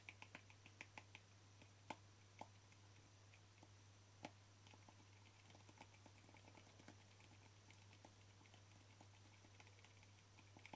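Short fingernails of both hands tap on the flat plastic lid of a small white plastic cream jar. The result is quiet, dry, clicky taps with almost no ring, a few sharper, louder ones standing out among a soft patter. A steady low hum runs underneath throughout.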